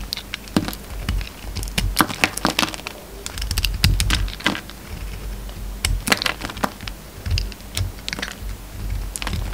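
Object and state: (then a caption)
Bar of soap being cut. A utility knife blade carves flakes off a solid peach bar of soap with red edges. Rapid, crisp scraping and cutting clicks with bright edges come in uneven bursts over a soft low rumble.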